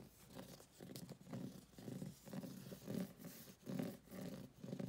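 Fingernails scratch across the glossy laminated card cover and along the edge of a thick, solid paper paperback book, Ghosts of the Shadow Market, held in hand. It makes quiet, repeated scratchy strokes that rise and fade in soft, rhythmic swells.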